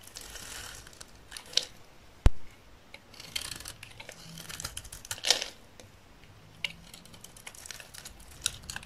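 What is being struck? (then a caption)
Bar of soap scraped with a knife blade. A utility knife blade scrapes and shaves the surface of a solid, rectangular bar of dry olive-green soap held in the hand. Dry, crinkly scraping bursts with bright hiss come in irregular strokes over a low background rumble. One sharp, loud click cuts off quickly early on.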